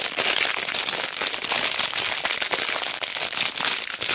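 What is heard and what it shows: A hand-sized retail pack of small, solid light-wood cubes, sealed in a clear crinkly plastic bag with a cardboard header, is held in both hands and squeezed and pressed by fingertips with long black nails. The plastic gives a dense, continuous, bright crinkling and crackling with no low end, while the blocks shift inside.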